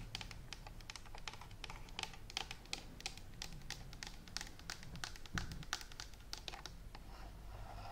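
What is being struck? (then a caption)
Plastic steam iron. Long manicured nails tap and scratch a hollow, handheld green and white plastic Philips clothes steam iron. The result is a steady run of quick, bright, clicky taps with very short decay and light scratching, over a quiet low rumble.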